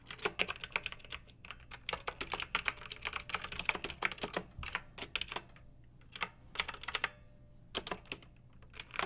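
Fingertips and long nails type fast on a pink backlit plastic mechanical keyboard with round, typewriter-style plastic keycaps. Bright, crisp clicks and clacks come in quick, dense bursts separated by short pauses. Each keystroke dies away almost instantly.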